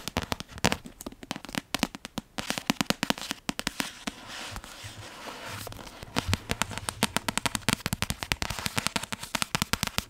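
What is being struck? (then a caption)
Paperback book with card cover. A solid Half-Blood Prince paperback with a card cover is tapped rapidly with long painted nails, producing dense runs of sharp, bright clicks. The taps thin out into a softer, quieter stretch in the middle, then resume as quick, crisp ticking with almost no ring.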